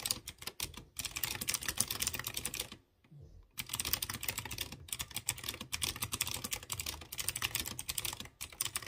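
A hand types rapidly with its fingertips on a typewriter-style mechanical keyboard with chrome-rimmed round keycaps on exposed blue switches. Dense, bright, crisp clicks run in fast bursts, with a brief pause near the three-second mark before the typing resumes.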